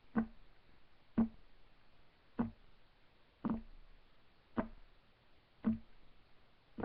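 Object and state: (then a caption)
Solid wooden table top. Fingertips of both hands tap quickly on a solid, flat, light wood desk top. Seven sharp, dry knocks with a low-mid thump around 230 Hz ring out briefly, spaced roughly a second apart with quiet between them.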